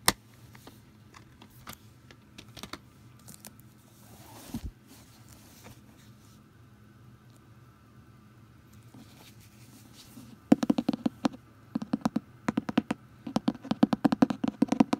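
Long green nails and fingertips tap and scratch the textured cloth cover of a large red cloth-bound Edgar Allan Poe hardcover lying flat on a stack. For about ten seconds there is quiet, soft scratching with only a few faint taps. Then a rapid run of sharp, dry, short taps starts and continues to the end.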